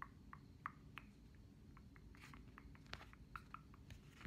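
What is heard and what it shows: Long painted nails tap and scratch the perforated, dot-textured back of a pink-brown plastic smartphone case held in both hands. The result is a quiet series of short, dry clicks with a bright tick around 1.2 kHz, mixed with soft scratching over a low background rumble.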